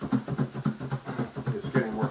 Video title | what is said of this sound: Apple Pie & Banana Bread | can hear it, it's coming together now. It's getting more solid.